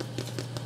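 A gluten-free, dairy-free, yeast-free sandwich loaf, fresh from the oven after 50 minutes of baking, is tapped three times. Each tap gives a soft, slightly hollow thump over a steady low hum. The loaf feels firm and sounds hollow, so it is baked through.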